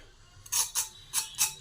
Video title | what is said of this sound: অনুষ্ঠান বাড়ী বা রেস্টুরেন্ট এর মতো অসাধারণ স্বাদের মুচমুচে ভেজিটেবল চপ এইভাবে বানিয়ে ফেলুন - | খুব ক্রাঞ্চি হয়েছে আওয়াজটাই শুনতে পাচ্ছেন কত মচমচে হয়েছে এই চপটা